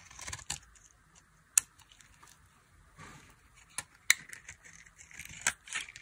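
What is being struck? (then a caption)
Bar of soap cut with a metal blade. A dry, solid white soap bar with a red rim is held in the hand and carved with a metal blade, peeling off thin shavings. The cuts make crisp, bright scraping and crackling strokes, with a few sharp clicking snaps standing out. Quiet pauses separate the strokes, and there is almost no low end.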